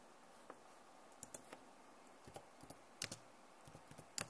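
Long nails tap on the keys of a backlit plastic laptop keyboard, producing sparse, irregular, bright clicks with sharp attacks. The clicks come in small clusters against a quiet hiss, and each dies away almost at once.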